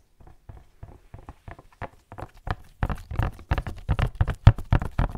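A tall, hollow black-and-white printed "Barber Jack" cardboard gift box is held upright near the microphone and tapped with latex-gloved fingertips. About twenty soft, dull, low thumps with very short decay start sparse and quiet, then come quicker and louder in an uneven rhythm.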